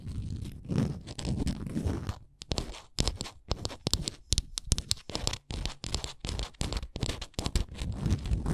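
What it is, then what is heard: Wooden souvenir ornament. Long nails scratch along the stepped top edges of a small, solid, printed wooden Canada souvenir ornament. Rapid, dry scraping bursts come in quick strokes, with bright crackly edges over a soft low rumble. The strokes run steadily for the whole clip, briefly breaking into short choppy scratches in the middle.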